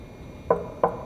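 Three sharp, dull knocks on the scraped metal oil pan of an RB20 engine in an R32 Skyline. The knocks stop quickly with no ring, and the pan sounds completely empty.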